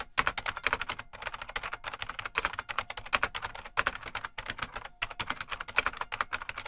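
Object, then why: Plastic mechanical keyboard. Fingertips of both hands type continuously on a full-size beige plastic IBM Model M mechanical keyboard with a hollow case. A steady, rapid stream of sharp, bright clacks rings off quickly, with little low end and a few brief pauses between bursts.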